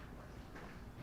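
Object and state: Nothing is struck.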